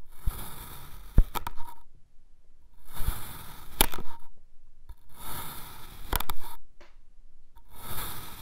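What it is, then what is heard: Kinetic sand mound being sliced. A dark iridescent metal knife slices a solid red kinetic sand mound into thin layers that fall over. Each slice gives a soft, gritty, bright scraping hiss with sharp little ticks, and dull low thumps follow as the layers drop, separated by quiet pauses.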